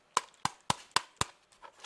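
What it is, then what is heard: Hollow plastic handheld console shell. Knuckle knocks on the plastic shell of a Kiztoys retro-gaming handheld console give five sharp, dry taps with a hollow tone around 1 kHz and almost no ring, followed by fainter rustling. The shell sounds hollow rather than solid and hard, seemingly just plastic, though it would probably survive a drop.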